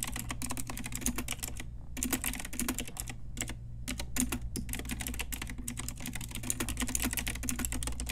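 Long nails and fingertips type quickly on a pink Ajazz retro typewriter-style plastic mechanical keyboard with round plastic keycaps. Dense, bright, clacky keystrokes run almost continuously, with short pauses near two and four seconds, over a steady low hum.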